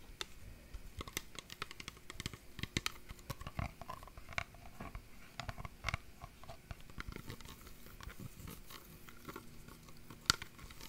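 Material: Glass.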